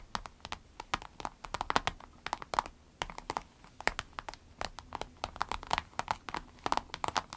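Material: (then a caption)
Vinyl. Long acrylic nails tap and scratch the surface of a small, flat, empty pencil case made of clear orange-tinted vinyl with a smiley print and a zip, while hands squeeze it. Quick, dry, bright clicks come in dense irregular bursts with faint crinkling between them, like light rain on plastic.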